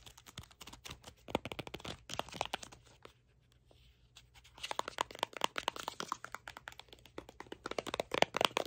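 A small hollow cardboard product box, printed red and green, is held in the hand while fingertips tap it and short nails scratch across it. Quick, dry taps and scratchy rustles come in dense bursts, with a near-silent pause around three to four seconds before the tapping and scratching resume more intensely.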